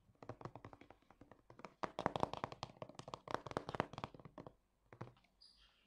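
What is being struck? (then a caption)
Hollow plastic bottle with liquid inside. A hand-sized, hollow, translucent light-blue plastic Balea Gesichtswasser facial toner bottle with liquid inside is held in both hands and tapped fast with fingernails and fingertips. Quick, dry, hollow taps with a mid-range knock and almost no ring come in dense bursts, louder in the middle, then thin out to a few soft taps and a faint high rustle at the end.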